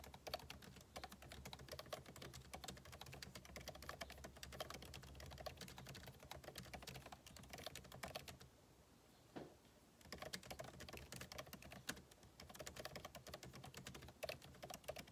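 Fingertips type rapidly on the plastic keycaps of a backlit MacBook Pro keyboard set in an aluminum body, producing a dense stream of short, bright clicks and taps with a steady low hum underneath. The typing pauses briefly around the middle of the clip, leaving near quiet, then resumes at the same quick pace until the end.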